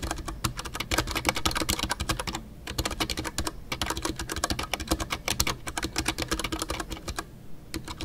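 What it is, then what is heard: Mechanical keyboard with PBT plastic keycaps. Fingertips type continuously on a full-size Ducky One 2 mechanical keyboard with a white case, MX Brown switches and custom artisanal PBT plastic keycaps. The result is a dense run of crisp, bright key clacks with a low thock under each stroke, and brief pauses near 2.5 and 7.3 seconds.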